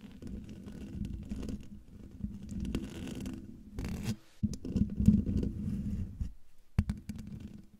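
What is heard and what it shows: Long dark-painted nails of both hands scratch up close on the hollow metal mesh grille of a silver microphone. The result is a dense, uneven, low rumbling scratch with a hum around 200 Hz, pausing briefly twice before resuming.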